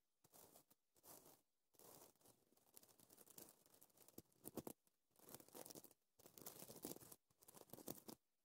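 Short dark green-painted nails scratch and brush across a flat sheet of iridescent blue-purple reversible plastic sequins sewn on fabric, flipping the sequins over. The result is bursts of dry, crinkly rasping and fine clicking, broken by brief silences.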